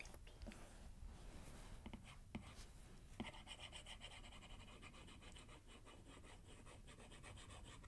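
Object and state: Stylus on glass tablet screen.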